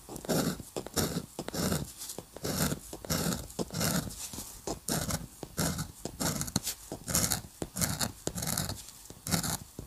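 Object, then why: Metal pen nib on drawing paper. A metal dip pen nib is scratched rapidly across a flat sheet of white drawing paper in dense hatching. Quick, irregular bursts of dry, bright scratching come with brief pauses between strokes. Each stroke stops short with no lingering ring.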